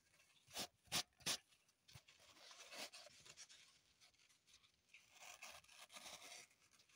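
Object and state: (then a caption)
Floral foam block. Long nails scratch and dig into a green floral foam brick held in the hand above a table covered in foam crumbs. Three sharp, bright crunches come first, followed by quieter, continuous scraping and rubbing that is almost entirely high-pitched with very little low end.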